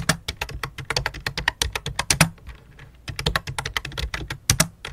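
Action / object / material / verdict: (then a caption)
tap / plastic membrane computer keyboard / plastic / none. Both hands type rapidly with fingertips and long dark-painted nails on a full-size white and light-blue plastic membrane keyboard with a hollow plastic case, lying flat on a black cloth. About thirty quick, uneven key taps sound as sharp, bright clicks over a low hollow thump near 160 Hz, each dying away almost at once. A brief lull comes in the middle of the clip before the typing resumes.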